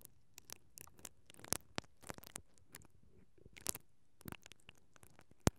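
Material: Metal mesh.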